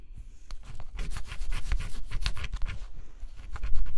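A stylus scratches the coating off a flat cardboard scratch-off jigsaw puzzle. Quick, dry scraping strokes come in dense bright bursts over a faint low rumble, growing busier and slightly louder toward the end.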